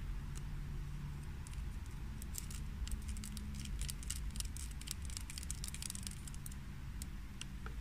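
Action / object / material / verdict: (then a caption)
tap / plastic hand cream jar lid / plastic / none. Long fingernails tap rapidly on the lid of a small, closed, likely filled green plastic hand cream jar standing on a table. The taps come as quick, light, bright clicks scattered over a steady low hum.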